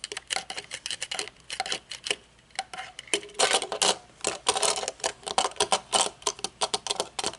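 Long nails tap a pair of metal-framed aviator sunglasses with dark tinted lenses, both against a table and while holding them up. A rapid, uneven run of crisp, bright clicks and taps, with a brief quieter lull in the middle, is heard. There is almost no low end, and each tap dies away almost instantly.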